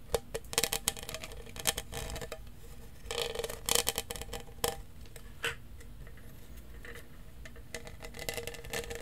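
A large, hollow lavender studded plastic tumbler with a straw is tapped and scratched with fingertips and nails along its studs. Quick, dry plastic clicks and scratchy bursts come in uneven clusters, bright and crisp with a faint hollow ring near 500 Hz. Each tap dies away almost at once.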